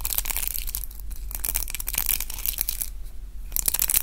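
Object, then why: Round hair brush with plastic bristles. A pink round roller hair brush with dense plastic bristles and a long wooden handle is held in both hands and twisted and rubbed between the fingers. This makes dense, bright, crunchy crackling bristle sounds in rapid bursts, with brief quieter pauses. A steady low hum runs underneath throughout.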